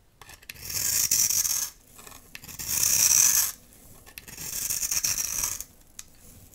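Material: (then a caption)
Soap. A dry, solid blue soap bar held in the hand is rasped and scraped with a metal utility knife blade, producing grainy shavings. Three long, bright, hissing scraping strokes are heard, separated by short quiet pauses with faint small clicks.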